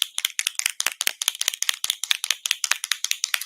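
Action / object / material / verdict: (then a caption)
shake / paint marker with mixing ball / plastic / none. A green medium-tip PCA paint marker is shaken, rattling the paint canister (mixing ball) inside, which shows it is a paint pen with a canister in it. About 23 quick, sharp, bright clicks come in a fast, somewhat uneven rhythm, each dying away almost instantly with no low end.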